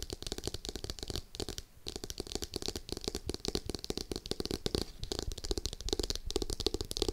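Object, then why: Cardboard-covered hardcover notebook. Long acrylic nails of both hands rapidly tap and scratch a navy hardcover notebook with a cardboard cover lying flat by the mic. The result is a dense, continuous stream of short, dry clicks and scrapes with a hollow low thump and bright scratchy edges. There is a brief lull just before the two-second mark.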